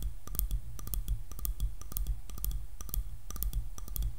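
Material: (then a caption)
Wood. Long nails tap quickly on the solid wooden back of a light paddle hairbrush with black bristles. The result is a steady run of short, dry, bright clicks in a repeating rhythm over a constant low hum.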